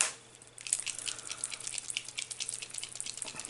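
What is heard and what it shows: A metallic paint marker pen is shaken harder so its loose ball bearing mixes the paint, because the paint is not yet flowing to the tip. After a brief quiet moment, a rapid, steady run of bright, thin rattling clicks fills the rest of the clip, with almost no low end.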